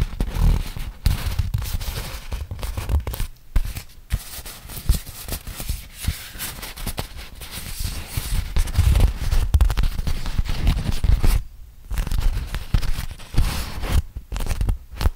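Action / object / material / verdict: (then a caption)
scrape / beeswax-coated cotton food wrap / waxed cotton / none. A flat, crinkled beeswax-coated cotton food wrap is held open while a hand and fingertips rub and crinkle the waxed sheet. The result is dense, sticky crackling and scratchy rustling, heavy in the low end, with short sharp pops. It pauses briefly near 3.5, 11.5 and 14 seconds.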